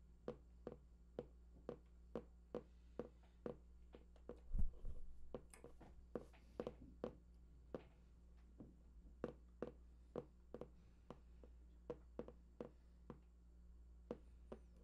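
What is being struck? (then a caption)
Printed cardboard box. Fingertips tap and scratch near the right edge of a large, hollow, printed cardboard PlayStation 4 box with unknown contents. Short, dull taps with quick decay come in a steady series, broken around the middle by a brief burst of rustling scratches. A constant low hum sits underneath throughout.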